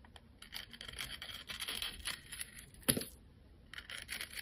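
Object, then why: Bar of soap cut and scraped with a metal blade. A snap-off metal blade cuts and scrapes slices from a solid rectangular white soap bar with a purple and gold glitter coating, held in a hand with long lavender nails. Bright, dry rasping scrapes come in a run of quick strokes, with one sharper snap near the three-second mark, a brief quiet stretch, and then more scraping.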